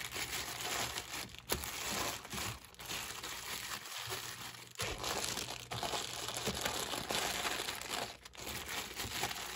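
A hand grips and crinkles the loose plastic film sleeve wrapped around a stack of clear plastic cups. The result is a steady, bright crackling and rustling that runs throughout, with a sharper louder crackle early on and brief dips in between. There is little low end.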